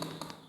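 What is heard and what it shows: Knuckles knock three times on a wood-look ceramic floor tile, giving sharp, hard taps with a brief ringing tail. The hard, bright knocks confirm it is genuine ceramic tile and not wood-pattern vinyl.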